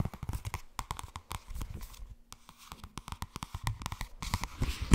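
Long red nails rapidly tap and scratch the cover and spine of a thin purple softcover paperback held at an angle. The result is a fast, uneven run of short, dull, low-heavy taps mixed with light papery scratching, ending on a louder tap.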